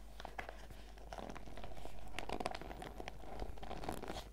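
A printed clear PVC zip pouch full of sachets is held upright and squeezed and scratched with long red nails and fingertips. It gives a steady stream of soft plastic crinkling and crackling scratches over a low background hum.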